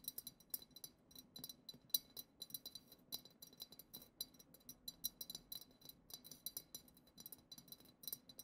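Long acrylic nails rapidly tap the bowl of a hollow, clear glass goblet-shaped vessel decorated with silver glitter swirls. The result is a quick, irregular stream of bright, dry clicks and clinks with a high ringing tone that dies away almost instantly after each tap.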